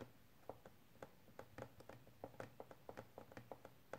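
A small, hollow, rectangular clear hard plastic case lies flat and is then lifted upright in both hands and tapped and scratched with painted fingernails. About eighteen quiet, short, hollow taps with a mid-pitched tone ring out unevenly over the faint scratching. Each tap dies away almost at once.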